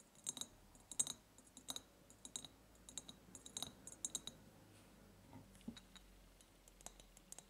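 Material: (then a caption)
Glass. Long nails tap and click on the ribs of an empty, clear, ribbed glass jar. The sound is a loose run of quiet, dry, bright clicks that die away almost at once.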